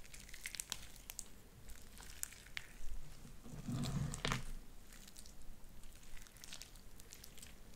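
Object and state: Sticky slime with beads.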